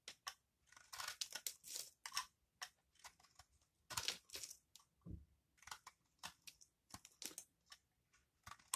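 A solid, dry bar of Aist laundry soap is held in the hand and repeatedly scraped and cut with a utility knife blade, shaving off crunchy flakes. The sound is a quick run of bright, dry scraping and crunching bursts with almost no low end. Near the end, a large slab breaks off the same bar.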